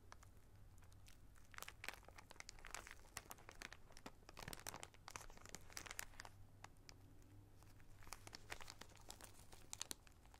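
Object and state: Plastic zip bag of small rubber rings.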